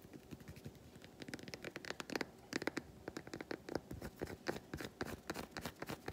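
Long white nails scratch and tap across the squares of an unwrapped solid milk chocolate bar, close up. Quiet, dry clicks and short scratchy strokes come in quick, uneven bursts, each dying away almost at once.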